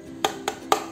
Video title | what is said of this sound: Strattos S7 2021, Review dan User Experience | kalau dipukul suaranya karbon